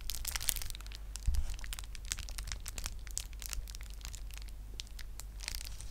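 A flat sheet of clear plastic bubble wrap, held in both hands close to the mic, is crinkled and squeezed with fingers and nails. It makes a dense, continuous run of bright crackles and sharp ticks over a steady low rumble, with a brief dull thump early on.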